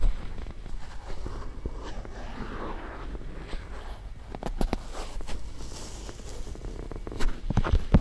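A cotton swab rubs and scrapes along the folds of a white silicone ear-shaped microphone on a round base, and fingertips with long nails touch the ear. The result is a close, mostly low-end scratchy rustle broken by sharp clicking taps, with the loudest taps near the end.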